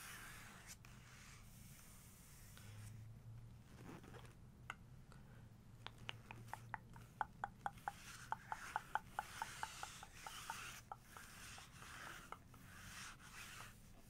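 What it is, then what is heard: Glossy paper book page tapped with fingernails. Fingertips with long nails trace and tap across the glossy paper page of an open photo book showing a man in a robe. Soft rubbing gives way to a quick, uneven run of sharp, dry nail taps with a slight papery ring, over a quiet low hum, before settling back into gentle tracing.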